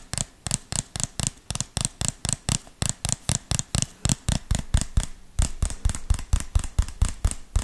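Fingertips and nails tap and scratch the sides and lid of a small, hollow white plastic tub or jar with a red label, held close to the mic. About 30 quick, fairly uneven taps sound over the clip, each a short hollow knock with a deep body and a bright clicky edge that dies away almost at once. Faint scratching fills the gaps between taps.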